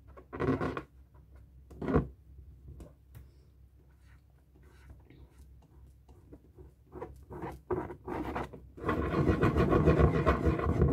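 A felt-tip marker draws a tree on a hollow, inflated light blue latex balloon, its strokes and scratches rubbing against the rubber skin. Short squeaky rubbing strokes come early and around the middle, with quieter scratching between them. A louder, steady stretch of rubbing continues to the end.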